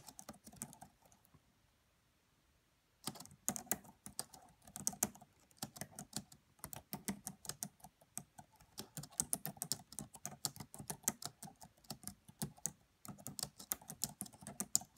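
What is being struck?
Plastic laptop keyboard keys.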